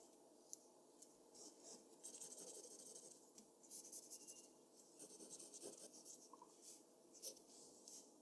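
A mechanical pencil held in the fingers makes continuous strokes across a large, flat sheet of white drawing paper lying on a desk, its graphite tip scratching and rubbing as it shades a figure. The sound is a quiet, bright, hissy scratching that rises and falls in short, uneven bursts, with almost no low end.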